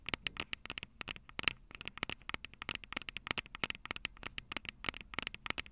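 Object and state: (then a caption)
Handheld audio recorder microphones tapped with fingernails. Long purple acrylic nails tap the two metal-grilled microphone capsules of a Tascam DR-05 handheld recorder with a plastic body. Quick, irregular bursts of sharp, bright clicks fall close together, each dying away almost instantly, with very little low end.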